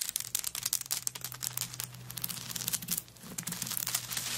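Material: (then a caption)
Coconut shell. Long nails scratch and scrape across a handbag covered in coconut shell chips lying flat. The sound is a dense run of bright, crackly scratches and quick dry clicks, with a faint steady low hum beneath.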